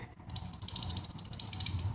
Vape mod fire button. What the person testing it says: the button it plays around a lot so if you shake it you can hear it move